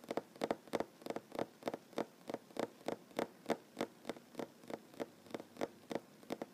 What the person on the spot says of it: Tapping on wooden table, mostly one handed. No talking.